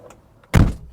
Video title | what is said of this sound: Renault Fuego Turbo "USA" (1982) - L'expatriée | Et ça sonne plutôt mat.